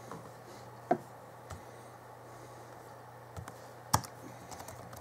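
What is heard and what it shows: Fingertips tap the plastic keys of the backlit chiclet keyboard on a 2011 Alienware M11x2 laptop. Sparse, short clicks come at uneven intervals, with sharper taps near one and four seconds. A faint, steady low hum sits underneath throughout.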